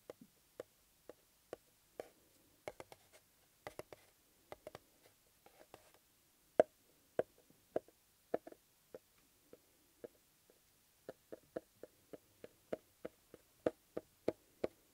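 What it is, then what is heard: Cardboard box. A small, flat, closed, hollow cardboard box covered in blue paper (EMTEC) is held tilted in one hand while the fingertips and nails of the other scratch and tap its top. 27 quiet, dry, hollow taps sound, each dying out almost instantly around a mid-range tone of about 625 Hz. Faint scratching fills the gaps between them.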